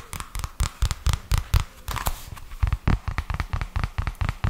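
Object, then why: Paperback book with card cover. A purple paperback book with a card cover is held in both hands while fingertips tap and scratch the cover, then the edge of the pages. Around twenty quick, dull, low taps land in an irregular rhythm, each dying away almost at once, with faint bright scratchy rustles between them.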